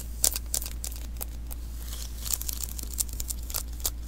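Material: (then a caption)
Adhesive paper. Fingertips repeatedly tap and pat the sticky surface of a small hollow lint roller refill roll of adhesive paper held in one hand, each touch lifting off with a short, bright, tacky peel. The crisp crackling snaps come in a quick irregular series over a steady low hum.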